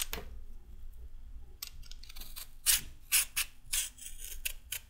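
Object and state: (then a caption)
Raw carrot being peeled. A solid raw carrot held upright is scraped with a red-handled metal peeler in repeated peeling strokes. Each stroke gives a bright, crisp rasping scrape that comes in short bursts, growing louder and more frequent toward the end, over a faint low hum.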